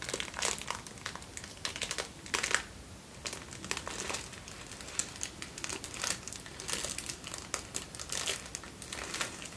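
A folded sheet of thin white tissue paper, held in both hands close up, is crinkled and rubbed with fingertips and short nails. A steady run of soft, bright crackles and rustles comes in quick, uneven bursts, with little low end and almost no ring after each crinkle.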